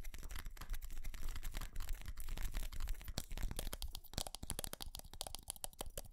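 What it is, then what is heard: Ceramic light-up Christmas tree. Fingernails scratch and tap the body of a small white ceramic light-up Christmas tree with colored bulbs. Dense, dry scratching runs throughout, broken by quick, sharp clicks that grow more distinct in the second half, all over a steady low rumble.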